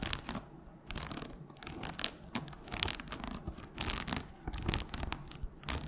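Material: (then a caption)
Cardboard, paper. Long nails scratch and tap the cover and pale page edges of a red hardcover book that is held and tilted. Dry, bright scratching rasps alternate with short, light taps in quick irregular bursts, with no lingering ring.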